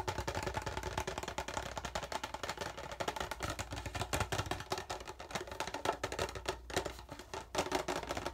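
Fingertips of both hands rapidly tap and scratch the thin side of an empty, hollow, clear PET plastic water bottle with a frosted label sleeve. The result is a dense, continuous flurry of quick, crackly taps and scrapes with a hollow plastic tone around 680 Hz and short, dry decays.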